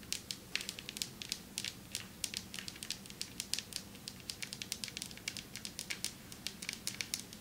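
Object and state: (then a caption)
Marble table top tapped with nails. Long metallic nails tap quickly and repeatedly on a marble table top, making sharp, crisp clicks. Each tap is a bright, very short tick that dies almost instantly over a faint low hum.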